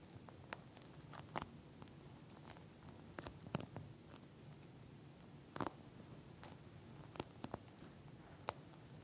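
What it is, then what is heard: Plastic gel bead eye mask. Long nails tap and scratch the bumpy surface of a pink eye mask lying flat, its soft plastic shell filled with gel beads. Quiet, soft scratching runs throughout, broken by scattered sharp, bright clicks that die away almost instantly, over a low, steady rumble.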